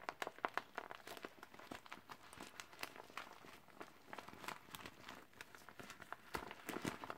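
Gloved fingertips crumple and crinkle a small, deflated, hollow and empty teal clear vinyl beach ball with black lines. The result is a quiet, steady stream of dense crinkles and sharp, bright plastic crackles with very short decays, with a few louder crunches standing out near the start and end.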